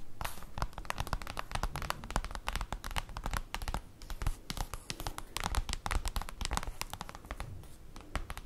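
Long acrylic nails rapidly tap and scratch across a large, flat, black printed paper/cardboard folder lying on a table. The result is a dense stream of dry, crisp clicks and papery scrapes with soft low thuds underneath, each tap dying away almost instantly.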